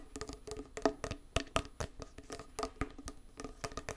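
A small round closed metal tin of hand putty with a printed label is tapped with fingernails on the lid and edge while held close. The result is a quick run of dry, bright clicks and taps with a hollow tonal ring around 430 Hz that dies away almost at once. About eighteen taps come at an irregular pace.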